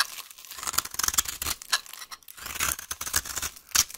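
A utility knife blade scrapes a solid, dry, green vintage soap bar held in the hand, shaving it into crumbly curls. The sound is a crisp, bright, high-pitched scratching made of rapid rasping strokes, with a brief pause around the middle before the scraping resumes.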